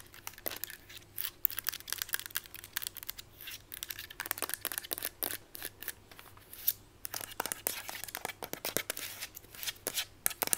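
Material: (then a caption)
Plastic. Long white almond-shaped nails scratch and tap on the hollow plastic body of a mint-green Instax instant camera. The result is a rapid, irregular stream of bright, dry clicks and scraping rasps that die away at once, with a faint low hum underneath.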